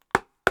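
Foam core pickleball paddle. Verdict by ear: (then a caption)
Crisp. Two sharp taps on a stiff Gen 4 foam core pickleball paddle give a crisp, short click centered around 1.4 kHz. The sound dies away almost instantly, with no hollow thump. It is a crisp sound, good for a foam core paddle.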